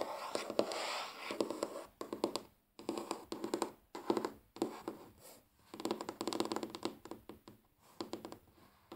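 Natural fingernails of both hands tap and scratch across a large solid wooden tabletop. Quick, dry clicking taps mix with bursts of scratching, and the sound comes in clusters separated by brief silent pauses. Each tap dies away almost instantly.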